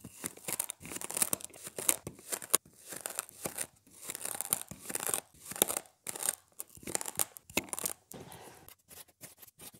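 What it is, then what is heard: Kinetic sand slab being scored. A thin yellow plastic stick scratches and scores crisscross lines across a solid, flat rectangular slab of colored kinetic sand resting on a white surface. Repeated short, gritty scraping strokes produce bright, crunchy rasps with almost no low end. Each stroke stops dead with no ring, and the strokes grow softer toward the end.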